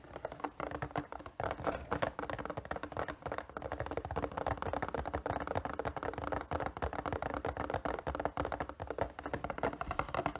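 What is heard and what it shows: A hollow, printed cardboard Nezuko figure box is gripped in both hands while fingers tap and scratch quickly across its cardboard panels. The result is a steady, dense patter of soft, dry, muffled taps and scrapes that stop short with little ring, sitting in the low-mid range with very little brightness and a faint steady tone underneath.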